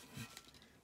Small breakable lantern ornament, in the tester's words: you could kind of hear that it's hollow